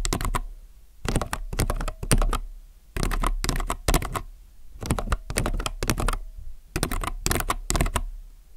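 Fingertips type on a compact mechanical keyboard with plastic keycaps on a white desk. Bursts of quick, clattering keystrokes come in short runs separated by brief pauses. Each press gives a deep, full thock with a bright click on top.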